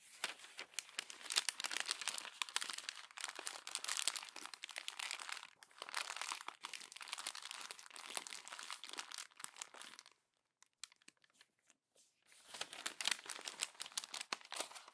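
Hands squeeze and crumple the pages of a glossy paper magazine, twisting them into a bundle. A dense, bright crinkling and crunching runs for about ten seconds, breaks into a near-silent pause with a few sparse ticks, then resumes for the last few seconds.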